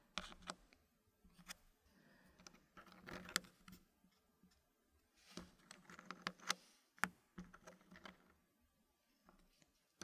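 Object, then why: Wooden puzzle pieces and wooden tray. Fingertips press small solid wooden puzzle pieces into a green-painted wooden frame, making about fifteen quiet, sharp wood-on-wood clicks and taps. The clicks come in loose clusters separated by brief pauses. Each one is dry and bright and dies away almost immediately.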